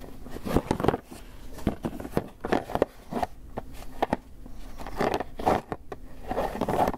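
A small, closed, hollow white polystyrene foam clamshell takeout box is held in one hand while the fingernails of the other hand tap and scratch it. Dry, sharp taps with almost no ring are mixed with squeaky, scratchy rustling centered in the midrange. The sound swells and eases in irregular bursts.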